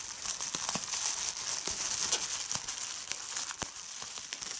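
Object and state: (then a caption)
Plastic bubble wrap. Fingers with red nails crumple a sheet of clear plastic bubble wrap, giving a steady, bright crinkling hiss. Sharp, irregular pops break through as individual bubbles burst.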